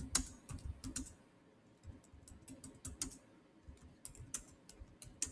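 Fingertips with short nails type fast across the solid black plastic chiclet keys of a silver Samsung laptop. Quick, bright, dry clicks come in an uneven run, each with a soft low thump underneath and almost no ring, with brief pauses between bursts.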